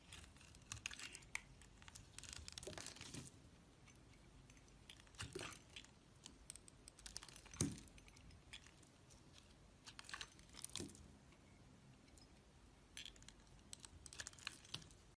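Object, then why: Soap bar scraped with a metal blade. A hand with long nails holds a partly carved, hand-sized, solid red square bar of soap and scrapes and shaves it with a metal snap-off utility blade, curling flakes off the surface. Quiet, dry, crisp scraping and crinkling strokes come in bright bursts, some sharper and louder than others, separated by soft low rustling between cuts.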